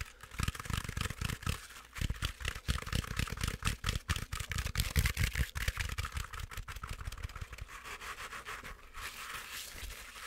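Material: Plush fabric.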